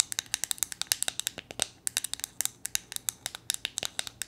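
A small, solid, flat painted wooden gnome figure is held in the hands and tapped and scratched with long painted nails. About thirty rapid, sharp, dry clicks come in an uneven stream, bright and high with almost no low end, each dying away almost instantly.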